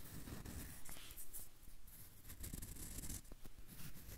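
Fingertips and nails scratch and rub the peel of a whole yellow banana held in one hand close to the recorder. The sound is quiet and continuous: soft, dry scratching with faint bright hiss over a dominant low, muffled rumble, plus a few brief sharper scrapes.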